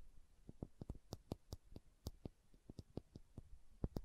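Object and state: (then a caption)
Glass serum dropper bottle. Long nails tap and scratch the body of a small dark green glass serum dropper bottle held sideways. Quiet, crisp clicks fall in a quick uneven run over about four seconds, each one short and dry with a bright tick on top. Faint scratching fills the gaps between taps.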